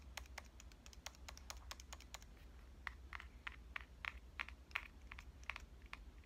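Long painted nails tap rapidly on the front body and around the lens ring of a small pink metal Canon compact camera held upright. The result is a steady run of short, crisp, bright clicks with almost no ring, over a low, steady hum.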